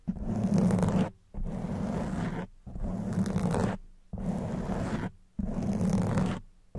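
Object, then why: Foam microphone windscreen. Long white nails scratch a black foam microphone windscreen, alternating hands, making a dense, rough, low-heavy rasping roar. The scratching comes in about five sustained bursts, each a second or so long and separated by brief silences, with another just starting at the end.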